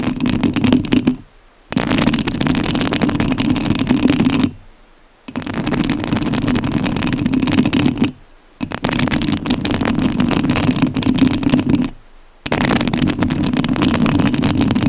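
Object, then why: Metal mesh microphone grille. Long nails scratch the metal mesh grille of a rhinestone-covered studio microphone, making dense, rough rasping with a strong low hum around 240 Hz and a broad hiss up into the high range. The scratching comes in five sustained passages separated by four short silent pauses.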